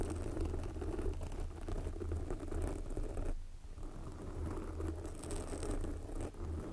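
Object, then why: Foam microphone windscreen. Long glossy black fingernails of both hands scratch a soft, porous red foam windscreen covering a microphone. The result is a steady, dense, low rumbling scratch with crackly texture, with a brief dip partway through before it resumes.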